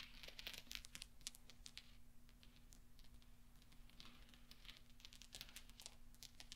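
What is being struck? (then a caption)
Small steel balls. Fingertips spread and sweep many small solid steel pachinko balls across black velvet, producing quiet, scattered bright clinks and ticks with very short ring. A faint steady low hum runs underneath throughout.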